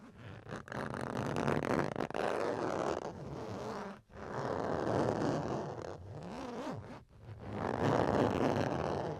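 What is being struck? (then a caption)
Plastic chopping board. A red plastic chopping board is scratched in three long, continuous passes, separated by brief pauses. It makes a dense, rasping midrange scratch with little high-frequency hiss.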